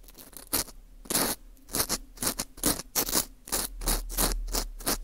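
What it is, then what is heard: Dry wheat gluten ring scraped. A green plastic screw earpick scratches inside the hole of a small, hollow ring of dry, porous baked wheat gluten (fu) held in a gloved hand. Repeated short, dry scraping strokes give bright, crackly bursts over a steady low hum.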